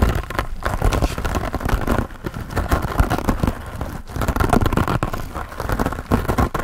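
Fingertips and nails scratch and rub a hand-sized, soft, grey porous foam sponge with a foam handle, held close to the face. The result is a dense, continuous, muffled rustling and scraping with a heavy low-end rumble and little high brightness, swelling and dipping steadily throughout.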